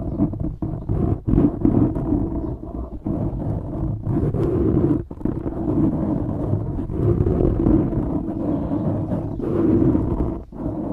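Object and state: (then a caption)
Foam microphone windscreen being scratched. Fingertips and nails scratch the sides of a black foam windscreen on a microphone, producing a dense, continuous low rumbling rustle with a throaty, roar-like quality. The scratching runs almost without pause, with brief dips in loudness, and carries no high or bright content.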